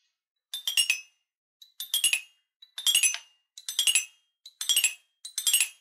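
A wooden stick mallet with a red ball tip taps the five coloured metal bars of a small guitar-shaped wooden toy xylophone held in one hand. Six quick runs of bright, tinkling metallic pings step downward in pitch, each note ringing only briefly, with short silences between the runs.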